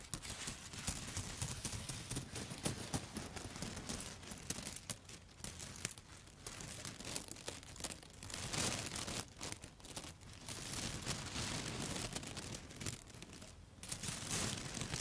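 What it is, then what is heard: Bundle of dry spaghetti. A handful of dry yellow spaghetti sticks held upright is tapped and rubbed with long foil-covered nail tips. The result is a dense, irregular stream of brittle clicks, crinkly scratches and crackles that cut off quickly, bright on top with a soft low rustle beneath, shifting in loudness over the clip.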